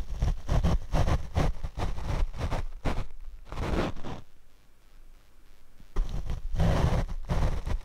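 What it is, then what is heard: Foam microphone windscreen brushed. A paint brush is brushed over the black foam windscreen of a Rode microphone, producing close, deep, rumbling swishes in quick, uneven strokes. The brushing eases into a quieter, softer stretch in the middle before the dense, booming strokes return.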